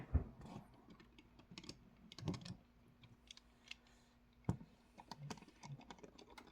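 A plastic Lego brick nutcracker figure is tapped with quick, light clicks that sound like typing on a keyboard. The taps come in irregular bursts with a few sharper knocks, over a faint low steady hum.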